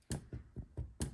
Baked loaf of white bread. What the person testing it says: You hear how it sounds hollow?